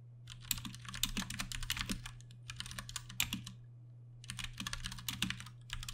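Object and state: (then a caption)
Plastic mechanical keyboard. A Ducky One 2 Mini, a 60% mechanical keyboard with Cherry MX Brown switches and plastic keycaps, is typed on with the fingertips of both hands. Rapid, bright, short clacks come in three bursts separated by brief pauses, over a steady low hum.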